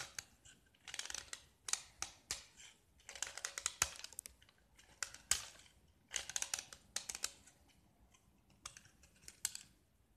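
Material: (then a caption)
Gypsum. A metal utility knife blade scrapes a small solid gypsum block, once painted orange and now mostly bare white with orange remnants. Quiet, dry, bright scraping strokes come in short bursts with gaps between them, each stroke crackling and gritty with almost no low end and no ring afterward.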